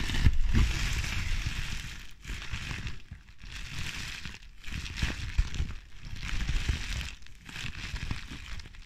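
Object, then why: Plastic bubble wrap. A bundle of clear plastic bubble wrap with air-filled bubbles is pinched and popped with fingertips and nails, crushing and crinkling it. Dense bursts of crinkling and crackling come in waves, with short sharp pops, separated by brief quieter gaps, over a heavy low-frequency handling rumble.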